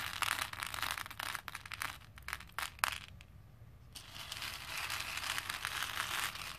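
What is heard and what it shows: A hand scoops a few small plastic faux pearl beads from a pink plastic bowl, lets them drop, then stirs them with fingertips and nails. Bright, crisp clicking and rattling comes in bursts, goes quiet for about a second, then returns as a steady, dense clatter of beads against plastic.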